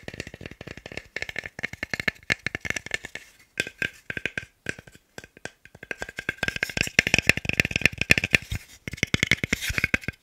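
A small, solid, light pale wooden cube block is held in both hands and rapidly tapped and knocked with the fingertips. This produces a dense stream of dry, bright clicks with a woody ring around 2.4 kHz. The taps stop briefly a couple of times before resuming in quick, uneven bursts.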